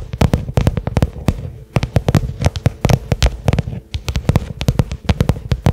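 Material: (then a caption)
Leather. Fingertips and medium-length nails tap rapidly on a small cylindrical black case with a pebbled leather covering, likely faux leather, probably hollow and hard-shelled, lying on carpet. About thirty short, dry taps come in quick uneven bursts, each a dull low thump with a sharp click on top that dies away almost instantly.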